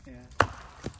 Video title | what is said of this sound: One Wrong Move, and… | that doesn't sound good to me